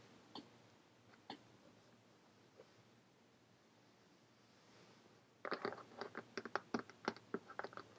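Long painted fingernails of both hands tap on a closed purple hardcover notebook with a ribbon bookmark, lying on a table. Three soft, sparse clicks come first, then after a quiet stretch a quick flurry of sharp, bright, dry taps follows with almost no ring.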